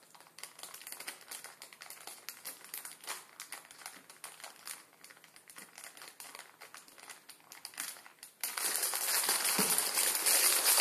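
A full plastic-film ramen noodle packet on a wooden table is rubbed and crinkled with the fingertips of both hands. A quick, dense run of bright, dry crackles fills the first eight seconds, then the crinkling turns louder and more continuous, becoming a steady bright rustle until the end.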